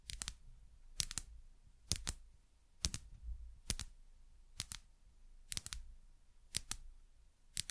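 Long nails tap the sides of a small, labeled frosted glass dropper bottle in quick double taps, repeating about once a second. Each tap is a short, bright click with almost no ring, over a faint low rumble.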